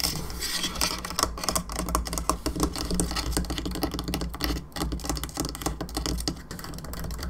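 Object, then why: Plastic skull candelabra lamp. Long fingernails tap rapidly across the top and bone arms of a hollow plastic skull candelabra lamp. The taps are crisp, dry and short, packed into a continuous, uneven patter. A steady low hum runs underneath throughout.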